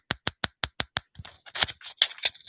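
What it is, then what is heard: Thin, flimsy aluminum differential cover. A thin, flimsy Hot Racing aftermarket aluminum differential cover from an Axial Bomber 2.0 RC crawler is tapped six times in a steady rhythm, followed by a run of quicker, irregular clicks and rattles. Each tap is a short, bright, high-pitched tick with almost no low end and very little ring, sounding more like plastic than metal. It is cheap, flimsy aluminum that can be bent.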